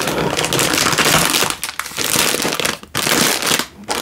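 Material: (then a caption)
Plastic film. A single full Indomie instant noodle packet in a crinkly plastic wrapper is held in one hand and squeezed and crinkled with the fingers. It makes a dense, bright crackling rustle that runs nearly continuously, with brief dips in loudness before the crinkling resumes.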